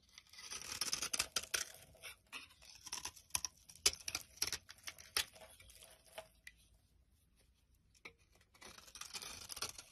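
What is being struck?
Soap bar scraped by knife blade.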